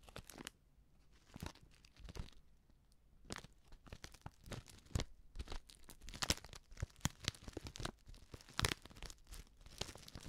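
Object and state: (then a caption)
Filled plastic foil soup sachet. Long nails scratch and crinkle a small, filled Betty Bossi Fladli instant soup packet made of plastic foil. Bursts of bright, crackling crinkles alternate with quieter scratching, growing busier and denser in the second half. Each crackle is sharp and dies away almost at once.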